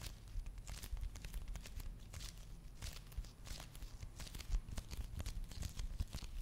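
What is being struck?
Foil and plastic face mask sachet.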